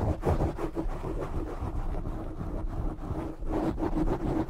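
Fingertips with short nails scratch and rub a black foam windscreen on a microphone. The result is a dense, rumbling low-heavy scraping with no separate hits and little high content, swelling louder toward the end.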